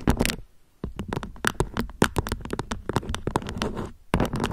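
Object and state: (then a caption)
Beeswax-coated cotton food wrap. Long nails scratch and pinch a thin beige beeswax-coated cotton food wrap draped into a peak, making the crinkly waxy fabric crackle. Rapid, sharp scratchy crinkles come in bursts with a brief quiet gap early on and a short lull near the end.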